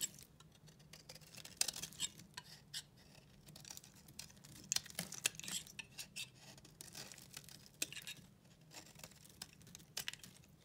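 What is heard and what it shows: A solid white bar of soap, held in the hand, is shaved and scraped with a pink utility knife blade, sending flakes coming off. Quiet, dry, bright crunching and scratchy scraping sounds come in quick irregular bursts, with sharper crackles standing out and no ring after each stroke.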